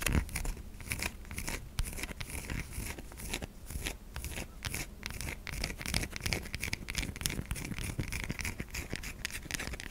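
A white solid bar of soap held in a palm is scratched across its curved top by long nails. The result is a steady run of dry, rapid scratching with bright high-frequency grit over a low rumble.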